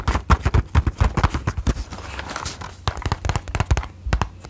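Long nails tap quickly on the flat sides of a closed cardboard matchbox, making a rapid, irregular run of short, dry, hollow clicks with a low thump. The tapping softens and blurs into quieter rustling partway through, then picks back up into crisp taps.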